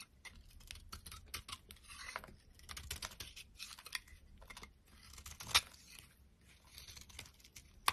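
A solid, dry pink soap bar with scalloped edges, held in the palm, is shaved with a metal utility knife blade. The result is a run of quiet, bright, crisp scraping and crunching strokes with uneven timing. Two sharper snaps stand out, one midway through and one at the end.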